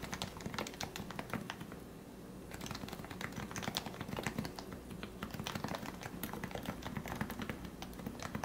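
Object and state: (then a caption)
Plastic keyboard being typed on. Fingertips type rapidly on the plastic keycaps of a plastic, lubricated Topre keyboard, a Leopold FC660C with 45 g switches. Dense, soft, muffled keystrokes with a low body and bright tick tops die away almost instantly. A brief lull just before the midpoint gives way to another quick, steady burst of typing.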